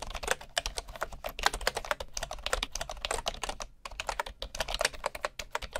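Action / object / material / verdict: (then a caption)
tap / bamboo keyboard with wooden keycaps / bamboo wood / none. One hand types with its fingertips on a bamboo computer keyboard with wooden keycaps, heard close up from low at the side. A quick, steady run of dry, crisp key taps comes through, each short and woody with a bright edge and almost no ring. The taps dip briefly just before the four-second mark, then carry on at the same pace.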